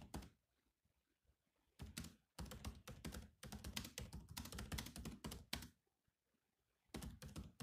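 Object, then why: Laptop keyboard, plastic keys. Fingertips type on the black plastic keys of a silver laptop keyboard, producing quick clicky taps with a dull low thunk and a bright click on top. The taps come in dense bursts separated by short silent pauses, and each one dies away almost instantly.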